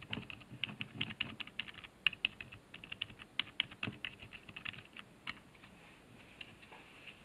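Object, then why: Plastic computer keyboard keys. A fingertip presses the arrow and numpad keys on a black plastic HP keyboard resting on a wooden desk. Quick, dry clicks with a bright tone around 2.8 kHz come in an uneven run of about two dozen taps, with almost no ring. The taps grow sparser and quieter over the last couple of seconds.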